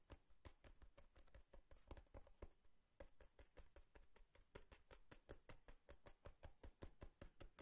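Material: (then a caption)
Cardboard. A cardboard box is tapped and knocked with a quick, uneven run of short, dull thuds. Each hit is mostly low and boomy, with a faint bright click on top, and dies away almost at once.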